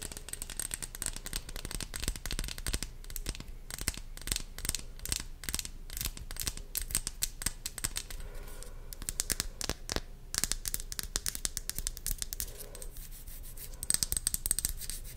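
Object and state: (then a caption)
Plastic pump bottle. A small, hollow white plastic pump bottle with a red cap is held close to a microphone and scratched and tapped with long blue nails. Rapid, crisp clicks and dry scratching come in dense bursts with short pauses, bright and sharp with almost no ring. A few louder taps stand out near the end.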